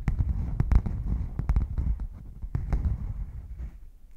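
Fingernails scratch and tap the surface of a closed, hollow red padded faux leather zip hard case as it is turned from lying flat to standing upright. The result is a run of dull, muffled, deep thumps with almost no ring, mixed with soft scratchy brushing that fades toward the end.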